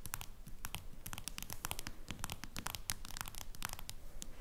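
Long nails rapidly tap and scratch the back of a face-down smartphone in a plastic case. The result is a quiet, irregular stream of sharp, bright clicks and scratchy rasps over a soft low rumble.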